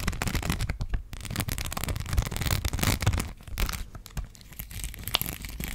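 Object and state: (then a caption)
Rhinestone sticker sheet scratched with nails. A gold rhinestone sticker sheet, bent slightly in the hand, is scratched with long black acrylic nails close to the microphone. It makes a dense, continuous crackling, tearing-like scratch with bright, crisp ticks over a heavy low rumble from the close contact.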